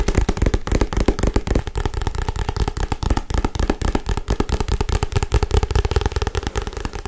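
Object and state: Paperback book.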